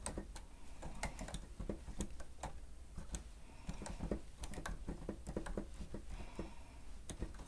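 Steady two-handed fingertip typing on the keys of a grey plastic stenotype machine gives a quick, irregular run of short, dry clicks and taps. A low, steady hum sits underneath the keystrokes.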